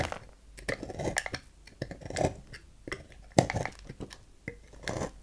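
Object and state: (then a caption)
Bar soap being carved. A dark knife blade cuts and scrapes the corner of a solid rectangular lilac bar soap on a table, carving it into shavings. Irregular crisp crunches and short scraping strokes come in uneven bursts, with bright clicks of the blade biting into the soap between quieter pauses.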